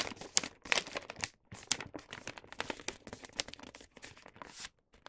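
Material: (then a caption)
Paper. Fingertips and nails fold and crease the top edge of a star-print paper gift bag. Close, bright crinkling and crackling comes in quick bursts with brief pauses, each crackle dying away almost at once, with hardly any low end.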